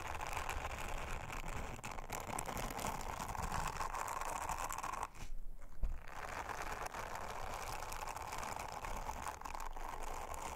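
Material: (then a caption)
Silicone. Long-nailed fingers rub an orange silicone bristle scrubber over a round, flat, thin blue silicone honeycomb trivet, making a steady, dense brushing and scratching texture with a heavy low end. Around the middle the rubbing briefly thins into a short lull with a few sharper ticks, then the even brushing resumes to the end.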